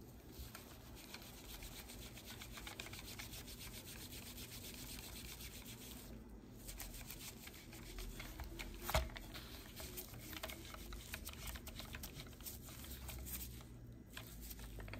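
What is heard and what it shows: A gloved hand wipes and rubs a black, hand-sized, hollow-bodied plastic car phone holder with a textured grip face using a microfiber cloth. The result is a steady, soft scratchy rubbing over a low rumble, with bright swishes of the cloth and one sharper, louder scrape about nine seconds in.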